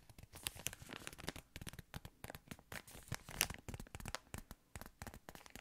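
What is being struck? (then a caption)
Thin plastic ice cream wrapper. A yellow patterned thin plastic ice cream wrapper is crinkled with the fingertips. The result is a quiet, dense run of sharp, bright crackles and crinkles, with short gaps between bursts and one louder crackle a little past the middle.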